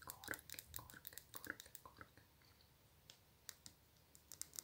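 Long nails tap and scratch a small orange nail polish bottle with a glass body and plastic cap. A fast run of bright, dry clicks fills the first two seconds, fading into a quiet soft scratching before a few sharp taps return near the end. Each tap dies away almost instantly.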